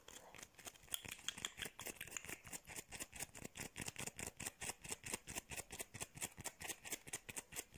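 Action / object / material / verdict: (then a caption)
scrape / whole lemon, textured peel / fruit peel / none. Long painted nails scratch and tap a small, whole fresh lemon with a textured yellow peel, held in one hand. The result is a quick, steady run of dry, bright scratching strokes with little low end. Each stroke stops short with no ring, and a faint tone sits around 3.3 kHz.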